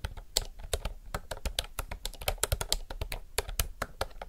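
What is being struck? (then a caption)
Mechanical keyboard with round plastic keycaps. Fingertips type continuously on a retro typewriter-style mechanical keyboard with round plastic keycaps. Quick, separate clacks and taps land at an uneven pace, each with a brief bright click over a dull low thump and almost no ring.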